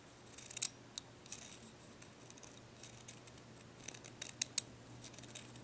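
Fingernails scratch the grooved surface of a dark, ridged, curved solid deer antler dog chew held up in the hand. The result is quiet, bright, dry scratching with sharp little clicks and ticks scattered through the clip, over a faint steady low hum.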